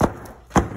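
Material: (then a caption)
Paper, cardboard. A used engine air filter from a Ford Flex EcoBoost, with paper pleats and a cardboard frame, is tapped lightly against something twice to knock out trapped dirt, making two dull, low thuds with a brief rattle of debris falling out. The cardboard frame makes the taps sound harsher than they are. The filter is judged not dirty enough to replace and is reused.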